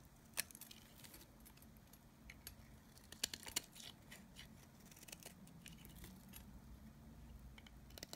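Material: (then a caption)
Soap. A solid oval cream bar of dry Nevskaya Kosmetika soap, held in the hand, is scraped and shaved with a snap-off utility knife blade. The sound is quiet, dry and bright, with scratchy shaving strokes punctuated by sharp crisp ticks and snaps as flakes come off, over a faint low hum.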